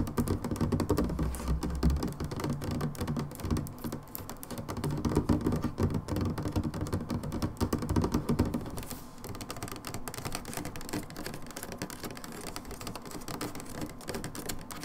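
Long nails tap rapidly on the sides of an upright brown plastic hydrogen peroxide bottle. The hollow, dull clicks have a low, bodied tone that dies away almost instantly. The tapping comes in a busy, uneven patter that eases to a softer, steadier rhythm in the second half.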